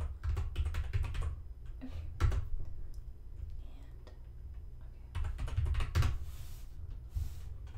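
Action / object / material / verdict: tap / plastic computer keyboard / plastic / none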